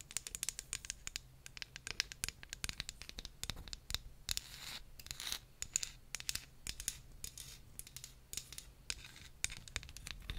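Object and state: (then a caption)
Wooden comb. Very long nails scratch and tap along the teeth and spine of a solid wooden hair comb, about 18 cm long, held close to the mic. Rapid, dry, bright clicks mix with short raspy scratching strokes. Each tap dies away almost instantly over a faint low hum.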